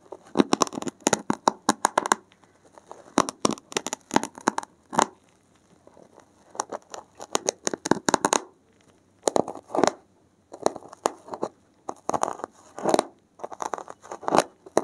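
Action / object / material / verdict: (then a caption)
scrape / stack of porous foam sheets / foam / none. A gloved hand pricks and scratches the top edge of a solid stack of dark grey porous foam sheets with a safety pin. Quick bursts of dry, crackly scratching and tearing-like rasps come in dense clusters separated by short pauses, each sound stopping dead with no ring.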